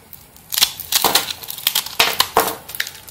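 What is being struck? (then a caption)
Bar of soap. A small metal blade cuts and scrapes thin slices off a hand-held solid bar of soap with a pink and black marbled surface, and the shavings fall onto the table. The result is a series of short, bright, crisp scraping and crunching strokes that stand out from a quiet background.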